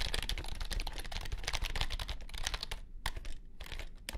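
Fingertips type rapidly on a compact white plastic keyboard with low-profile keys, producing a dense stream of quick, bright clicks over a steady low-end rumble. The clatter thins briefly near the end, with a few isolated sharp taps standing out.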